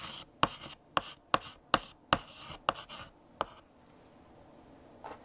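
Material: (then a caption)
Chalk. A stick of yellow chalk held in the fingertips scratches across a large, solid, flat black chalkboard with a painted surface while writing text. Seven sharp, bright chalk taps land about every half second, each followed by a short dry scratch. The strokes then fall quiet, and one faint stroke comes near the end.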